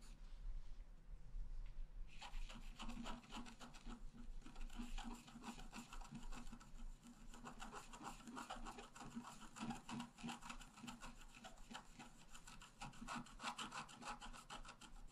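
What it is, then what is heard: Scratch-art card being scratched. A wooden stylus scratches the lower left leaves into a flat, black-coated scratch-art paper card. After about two seconds of near quiet, a steady run of dense, fine, dry scratching strokes begins, bright and papery with a low hum underneath, and continues to the end.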